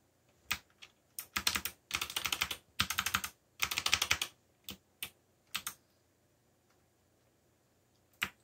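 Fingertips tap the keys of a backlit black plastic mechanical keyboard while typing. Bursts of rapid, bright clicky keystrokes alternate with single isolated taps and brief pauses. Each click is short and dry with very little low end.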